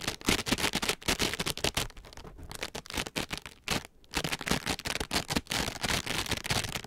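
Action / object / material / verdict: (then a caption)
scrape / foam sponge scourers wrapped in plastic mesh / plastic mesh / none. Two identical palm-sized, soft green foam sponge scourers, each wrapped in white plastic mesh, are held upright in both hands and rubbed against each other with the fingertips and palms, mesh scraping on mesh over the soft, porous, compressible foam. The result is a dense run of bright, crackly scratching and rustling bursts, with brief near-silent pauses around the 2.4 and 4 second marks.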